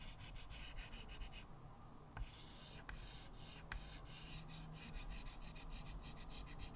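A stick of white chalk held in the fingertips scratches short strokes across a small square chalkboard with a wooden frame lying flat on a table. Quiet, steady scraping rasps repeat in quick bursts with bright, gritty texture, broken by a few sharp, brief ticks as the chalk catches the surface.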